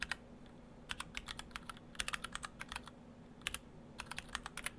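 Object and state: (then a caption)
Mechanical keyboard with PBT keycaps. Fingertips of both hands type on a split ortholinear mechanical keyboard, built in two halves with clear acrylic cases, Orthodox Rev3.1 with stock Gateron Brown switches and white and cyan PBT dye-sub plastic keycaps. Short, bright, clicky keystrokes come in uneven bursts with brief pauses, each dying away almost instantly over a faint low hum.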